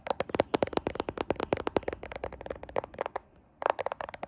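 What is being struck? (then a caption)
Smartphone with glass back and camera lenses. Fingertips tap and scratch the camera lenses on the glass back of a handheld smartphone with a metal frame, held in both hands in front of a mirror. A rapid run of sharp, dry, bright clicks with a midrange tick quickly fades. The clicks stop briefly near the end, then resume in a final quick burst.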